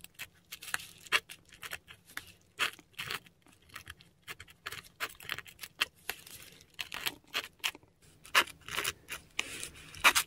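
A metal dip pen nib writes ink letters on a flat sheet of textured Korean paper, close up. Quick, dry scratches come in dense bursts of bright, crackly scraping with short gaps between strokes, and the level stays mostly above 2 kHz.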